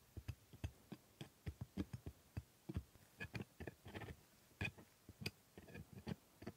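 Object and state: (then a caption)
Plastic dental model teeth. A steel hooked scaler held in a gloved hand scrapes and taps the hard plastic teeth of a plastic typodont dental model. About 17 short, dry clicks and ticks are heard with brief scraping between them; each is quiet, bright at the tip with a low thump, and dies away almost instantly.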